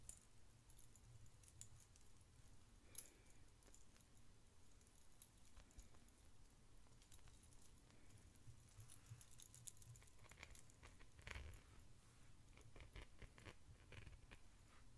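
A long, ornate silver-tone metal chain necklace with decorative links and pendants is held up in one hand while the fingertips of the other hand handle and jingle its links. Soft, bright metallic clinks and jangles come in irregular bursts over a steady low rumble, with a few sharper clicks standing out.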